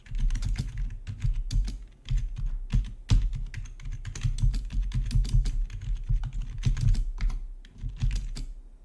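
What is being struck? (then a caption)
Plastic membrane computer keyboard. Fingertips type steadily on a full-size black plastic, backlit RGB membrane gaming keyboard with a hollow body, resting on a marble-look surface. The keystrokes are soft, dull, low-pitched taps with short decays, forming a rapid continuous patter broken by brief pauses near 2 and 7.7 seconds.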